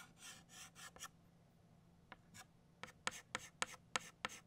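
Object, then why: Chalk stick on a slate chalkboard. An orange chalk stick draws petal lines on a flat black chalkboard with scratching strokes. It opens with soft, airy scratching swishes, then goes quiet before a run of sharper, bright clicking strokes as the chalk strikes and drags across the board.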